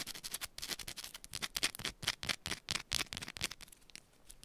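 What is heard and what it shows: Long pointed nails scratch quickly and roughly across a small, solid yellow bar of soap held in both hands. The result is a rapid, uneven run of short, dry, bright scratches, mostly high in tone with very little low end.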